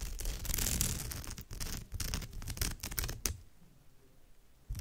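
Long almond-shaped nails on both hands scratch across the surface of a woven straw or raffia bag. Dense, bright, rasping scratches come in quick uneven bursts for about three seconds. The scratching then drops to a faint rustle, with one short burst returning at the very end.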